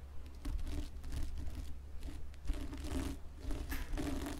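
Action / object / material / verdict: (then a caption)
scrape / plastic sequin fabric hat / plastic sequins / none. Fingertips with long red-painted nails scratch and rub across a red and green plastic sequin fabric Santa-style hat lying flat on a wooden table, with a white fluffy trim at its edge. Bursts of dry, crackling, crinkly scratching rise and fall in repeated strokes. A steady low hum runs underneath.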